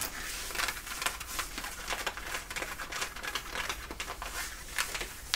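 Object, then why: Denim jeans fabric. Both hands scratch with long nails across the back pockets of worn, light-blue ripped denim jeans. The result is a quick run of dry, bright scratching strokes over a faint low hum, each stroke short and raspy on the thick fabric.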